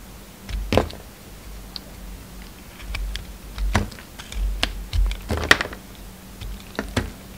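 A solid lilac bar of soap, held in the fingers, is cut and shaved with a utility knife blade. Sharp, crisp clicks and short scraping strokes come in irregular bursts, each with a soft low thud beneath it and almost no ring, over a quiet low hum.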